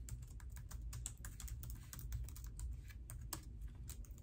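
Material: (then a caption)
Plastic. Fingertips with long nails type on the black plastic keys of an open laptop in a pink case resting on a marble counter. Quick, steady runs of small key taps and clicks sound bright and crisp over a low, constant hum.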